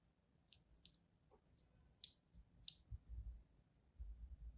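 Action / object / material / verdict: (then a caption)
scrape / bar of soap scored with a thin blade / soap / none. A thin blade tip scores a crosshatch pattern into the surface of a solid, palm-sized green-and-white striped soap bar. Four short, bright, crisp scratching clicks stand out against quiet background noise. Soft low thumps follow toward the end.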